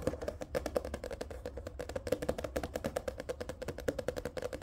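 Fingertips tap and scratch the glossy card cover of a thick paperback manga book standing upright, making a quick run of short, dry taps with a hollow midrange knock around 500 Hz. Faint scratching fills the gaps, with a low rumble underneath.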